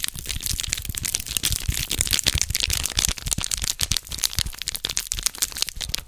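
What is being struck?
Small foil packet.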